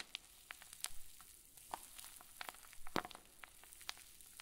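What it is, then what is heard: Plastic zip bag of fluffy stuffing being squeezed. A clear zip plastic bag full of white fluffy stuffing is squeezed with both thumbs. Quiet, irregular crinkles and sharp, bright crackles pop out one after another over a soft, steady hiss, each snap dying away almost instantly.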